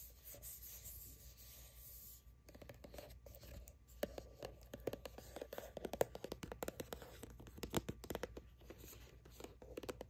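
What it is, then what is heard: Plastic sunscreen tube. Long acrylic nails scratch and rub along the side of a hollow plastic sunscreen tube, moving across its printed label text and barcode. A soft, steady rubbing hiss opens the clip, then gives way to a dense run of sharp, dry scratching clicks with a faint hollow resonance around 500 Hz.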